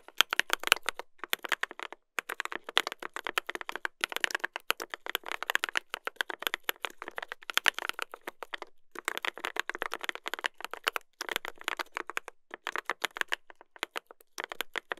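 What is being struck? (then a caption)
Mechanical keyboard, brass plate, plastic keycaps. A mechanical keyboard with a brass plate and plastic keycaps is typed on continuously by two hands using fingertips, producing rapid, sharp, bright clacks with almost no ring and little low end. The keystrokes come in dense bursts separated by brief pauses.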